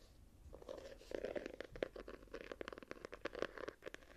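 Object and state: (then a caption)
Hardcover journal, scratched. Long nails scratch and tap across the gold-patterned embossed cover and edges of a small hardcover journal held in the hand. The result is a quiet, dense run of short, dry scratches and clicks, centered in the midrange with brief bright edges and no ringing.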